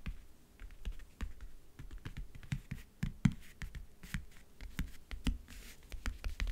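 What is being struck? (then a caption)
Faux leather backgammon case. Fingernails tap and scratch in fast bursts on the lid of a closed, hollow backgammon case covered in map-print faux leather. The clip gives short, dry clicks with a hollow low thump and faint bright scratching between them.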